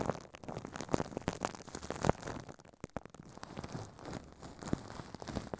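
A hand inside a furry pink puppet crinkles and rubs thin clear plastic film wrapped around a microphone head on a stand. Close, dense crumpling and scratching crackles with a muffled, low-heavy tone. Sharp louder crunches stand out in the first half before it settles into softer, steady rustling.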